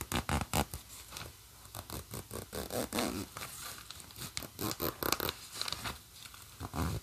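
Long nails scratch and tap along the black plastic coil zipper teeth of a green nylon bag and run the slider. The result is a quick, uneven series of dry, crisp clicks and raspy scrapes, each dying away almost at once, with bright edges over a soft low thump.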